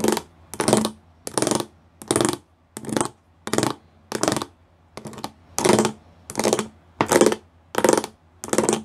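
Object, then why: Plastic panel with raised pyramid studs. Fingertips and nails tap and scratch a flat grey plastic sheet covered in rows of small square pyramid studs. A steady series of short, dry, scratchy bursts with bright, crisp edges rises and stops with brief silences between them.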